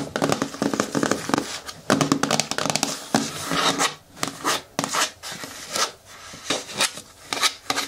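Fingertips and nails rub and scratch the flat bottom panel and rim of a green hard plastic bin with a lid. Quick bursts of dry, bright scratching and tapping rise and fall over a faint hollow low tone, with short pauses between strokes.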